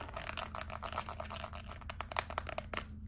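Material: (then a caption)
Plastic. Long acrylic nails tap and scratch across the rubber buttons of a small, flat, white plastic LED remote control, making a quick run of dry, clicky taps with crisp, bright scratchy edges. A few sharper taps stand out near the end over a faint low hum.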